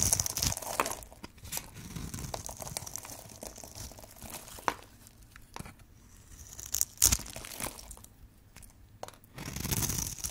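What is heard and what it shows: A metal blade scrapes and carves a cube pattern into a hand-sized, green and white striped solid bar of dry soap held in one hand. The sound is a dry, bright crunching and scraping with crumbly crackles as pieces break off. Sharp clicks punctuate it, and the strokes swell and fade between quieter pauses.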